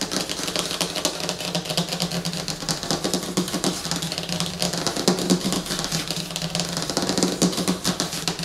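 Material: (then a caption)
Laminated paper. Fingernails of both hands tap and scratch across the surface of a large, flat, glossy laminated paper movie poster lying on a table. The result is a dense, rapid stream of short, bright, crackly clicks and scrapes with almost no ring, over a steady low hum near 180 Hz.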